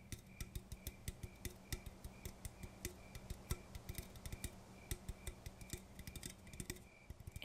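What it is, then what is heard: Aluminum coffee can. Fingers tap an aluminum coffee can to calm down, making a quiet, steady run of light, quick taps over about seven seconds. Each tap is a short, dull knock with a low, hollow body and a bright metallic tick that dies almost at once.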